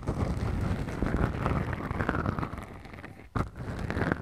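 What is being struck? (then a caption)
Foam microphone windscreen. Two small, soft, porous black foam windscreens on the mics of a Tascam recorder are scratched with the tips of long acrylic nails. The result is a dense, muffled, low rumbling scrape with little brightness, continuous and rustling. It dips almost to silence just past three seconds before resuming.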